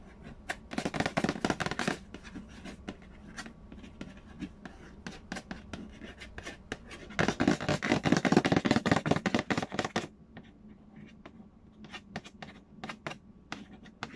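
Fingertips trace and scratch the glossy lid of a hollow cardboard Payday board game box. Two dense bursts of brisk, dry scratching, one near the start and a longer one in the middle, stand out above softer intermittent tracing and light taps. The strokes carry a bright papery rasp over a faint hollow low body, with no ring after each stroke.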